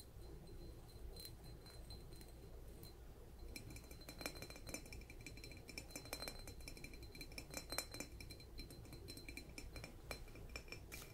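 Light taps on a light blue ceramic mushroom-shaped canister, moving across the ridged bottom, the polka-dotted top and the lid. Each part gives a different tone, and the rapid, glassy clinks ring briefly with a chime-like high pitch over a low steady hum.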